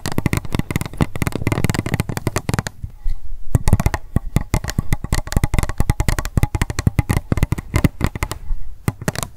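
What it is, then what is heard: Plastic cup tapped with fingernails. Long acrylic nails rapidly tap and scratch an empty, hollow, pink transparent plastic cup held upright. They make a dense stream of short, dull clicks and soft scrapes with little ring. The tapping pauses briefly near the three-second mark before resuming.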